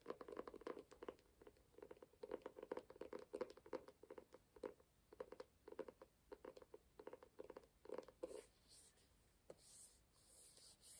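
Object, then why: Hardcover book cover. Fingertips and nails rapidly tap and scratch the burgundy and gold embossed cover of a small, ornate, solid closed hardcover book held upright in one hand. The result is a quick run of dry, short taps with a hollow midrange tone. After about eight seconds the tapping stops as the book is tilted, leaving soft, airy scraping sounds.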